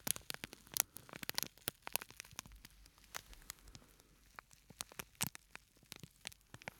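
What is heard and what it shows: A small, flat, purple-and-white printed plastic scent sachet with a sandy filling is held in the hands and squeezed and crinkled with the fingertips. Quiet, sharp, bright crackles and crinkles snap out in an irregular series over a soft, steady hiss and faint low hum. Each crackle cuts off almost instantly.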